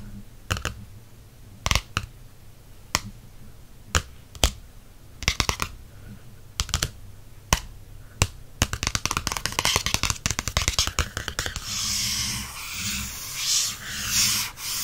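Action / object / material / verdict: tap / glossy cardstock paperback cover / cardstock / none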